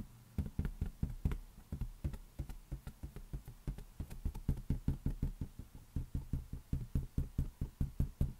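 An inflated rubber balloon is tapped rapidly for ASMR, giving some 35 quick, dull knocks like a finger on a taut membrane. Each tap is a deep, low thump around 78 Hz that dies away almost instantly, with faint bright clicks on the strikes.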